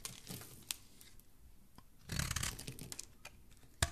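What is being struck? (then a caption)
Bar of soap scraped with a blade. A dark blade scrapes shavings off the surface of a solid pink-speckled bar of soap held in the hand. Soft, crumbly scraping and crinkling run throughout, with a denser, louder burst of shaving in the middle and sharp, bright clicks near the start and end.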